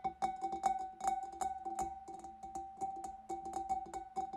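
Long fingernails tap quickly on a large, empty, hollow clear glass fish bowl, first on the front of the bulb and then along the wavy glass rim. The taps are bright, quick clicks over a steady glassy ring near 780 Hz, in an uneven, quiet rhythm.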